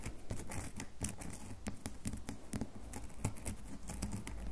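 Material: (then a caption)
Soap. A solid red bar of soap is held over a table while long fingernails scratch and tap its edges and surface. The result is a rapid stream of soft, dry ticks and scratchy patter with brief broadband clicks over a low, steady hum.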